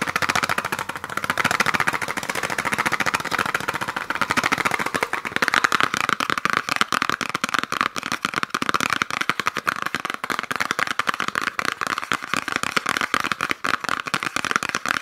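A small, hollow cardboard gift box wrapped in peppermint-print paper with a red ribbon is held close and tapped and scratched fast with fingernails. The result is a dense, rapid stream of dry, crisp clicks and papery scratching, bright in tone and centered around 1.4 kHz with almost no low end. Each tap stops almost instantly, and the rhythm turns more choppy and clicky in the second half.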